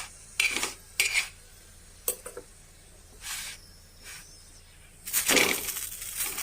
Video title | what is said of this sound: चपातीपासून बनवलेले सँडविच #marathivideo #youtubsvideo #🫔🫔 | किती कुरकुरीत आवाज येतोय याचा ... तुम्हाला आवाजावर समजत असेल किती झालेला आहे